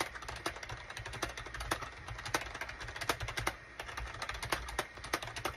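Fingertips type on a full-size gray and cream SHIPADOO K600 wired USB plastic keyboard with a hollow plastic case, resting on a desk mat. A steady, uneven run of short, sharp, bright clacks dies almost instantly, with a few louder strokes standing out over a faint low hum.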